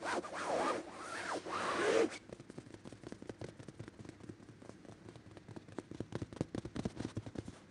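Fingertips and short nails scratch and rub the fabric of a soft, stuffed, dark red velvet-like throw pillow resting on a white bed. About two seconds of loud, sweeping rubbing come first, then quieter, quick, irregular scratching strokes with a soft, dry texture.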